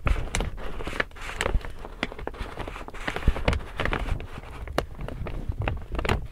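An empty large pink woven plastic tote bag is opened, folded and crinkled in both hands, with its handles visible. Dense crinkling and rustling crackles come in quick, uneven bursts, each with a sharp bright snap over a heavy low rumble, and they stop almost instantly with no ring.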